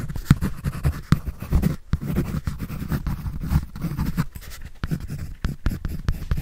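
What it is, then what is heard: Pencil on a paper sketch pad. A pencil scratches and draws across a white paper sketch pad held by hand. Quick, dry scraping strokes follow one another in an uneven rhythm, with most of the energy low and muffled, and brief pauses between bursts.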